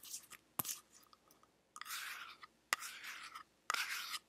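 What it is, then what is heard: Small metal tin tapped and scratched with nails. Long nails tap and scratch the lid and sides of a small, round, hollow teal metal tin. Sharp, clicky taps alternate with longer bright, hissy scratching passes. The sound is quiet, with almost no low end and no ring after each tap.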